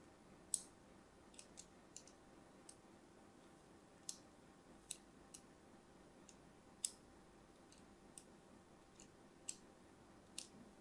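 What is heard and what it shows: A thin metal blade scratches lines into the surface of an orange and white striped solid soap bar held in hand. About sixteen short, sharp, bright scratchy clicks sound at irregular intervals, each dying away almost at once. Between them is only a quiet, steady hiss.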